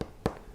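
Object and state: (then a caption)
Sound-damped steel PC case side panel. Two taps on the steel side panel of an ABKO S10M Silenty 2 PC case, which is lined with sound-absorbing material. Each tap gives a short, dull, muffled knock with almost no ring instead of a tinny metallic clang, showing that the damping material absorbs the noise.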